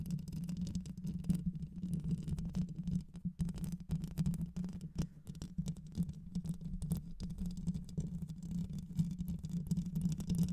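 Long white nails scratch and tap the rounded metal mesh grille of a black microphone with a hollow head, producing a dense, continuous scraping rumble. The sound is muffled and boomy, with a steady low hum near 180 Hz and rapid crackling taps throughout. There is almost no high-end content.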